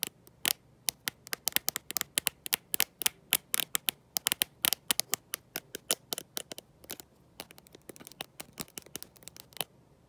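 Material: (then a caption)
Glass. A black smartphone with a glossy glass back and no case, held in one hand, is tapped and scratched by long nails fitted with gold metal paperclips. Dozens of sharp, bright, crisp clicks come in quick, irregular bursts, each dying away almost instantly. Faint scratching runs between them, with almost no low end.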